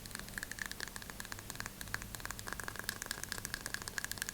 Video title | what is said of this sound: ASMR * Aggressive Scratching & Tapping on 10 Items * Soft Spoken * ASMRVilla | I like the sound of the plastic on the deodorant cases or bottles